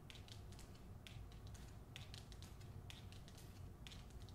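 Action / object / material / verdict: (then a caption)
tap / hardcover book with glossy paper dust jacket / paper / none. Long nails tap and scratch across the glossy paper dust jacket of a hardcover novel held up in the air. Quick bright ticks and short scratchy swishes come in irregular clusters over a steady low hum, at a soft, even level throughout.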